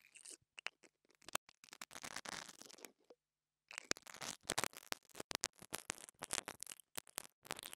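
The top of a small, solid black plastic lavalier mic capsule, held in the fingers, is scratched and brushed with a small pink dental brush held in the other hand with long nails. Quiet, bright, crunchy scratching and bristly brushing come in rapid bursts, with a short silent pause near the middle.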